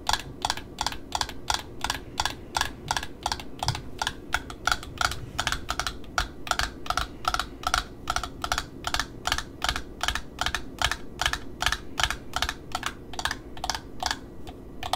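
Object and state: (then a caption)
Satin ribbon roll. Long nails tap and scratch the wound satin side of a black satin ribbon spool held in the hand. About fifty short, dry clicks come in a quick, uneven patter, with bright tops over a body around 1.4 kHz. Each click dies almost at once above a soft, steady low hum.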